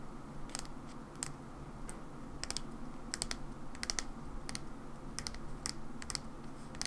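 Long nails tap slowly on the body and white cap of a mauve plastic hair cream bottle. The result is a series of short, sharp, bright clicks that stop almost instantly, spaced irregularly over a steady low background hum.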